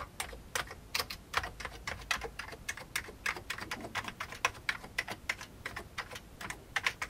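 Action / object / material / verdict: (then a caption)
tap / plastic computer keyboard keys / plastic / none. A single fingertip presses keys on an old beige full-size plastic computer keyboard with hollow keycaps, making about 38 quick, separate taps over seven seconds. Each tap is a short, dry, bright click centered around 2.3 kHz with very little ring and almost no low end.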